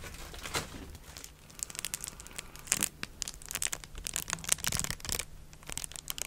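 A thin, flexible sheet of clear plastic bubble wrap, held up in front of the microphone, is crinkled and scratched with long dark nails and fingertips. The result is a steady stream of soft, bright crinkles and quick scratchy crackles, with a few sharper snaps standing out.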